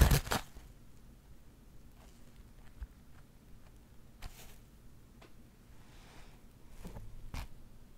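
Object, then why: Woven burlap pouch. Long acrylic nails scratch the woven surface of a flat, soft, empty-looking linen or burlap pouch held in both hands. A loud rough rasp opens the clip, followed by sparse, quiet, dry scratching with brief brighter strokes spaced apart over low background rumble.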